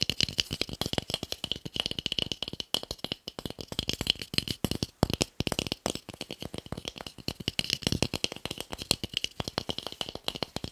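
A small, solid, pale wooden cube held in the hands is tapped fast with fingertips and nails. The result is a continuous stream of quick, dry clicks and knocks with a bright, high edge and almost no ring after each tap.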